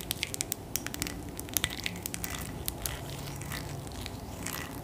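Long nails tap a tall glass bottle filled with purple liquid. Quick, bright clicks come in an irregular run, with sharp ticks early and a denser, crackling patter later over a low, steady background.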